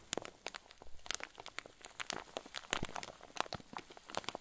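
A rectangular clear zip-lock plastic bag full of white fluffy filling is held up and squeezed with fingertips and thumbs. The result is a steady stream of soft, crisp crinkles and crunches, with sharp bright snaps scattered through a quiet rustling background.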